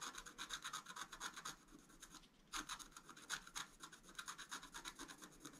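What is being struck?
Black-coated scratch art card scraped with a wooden stylus.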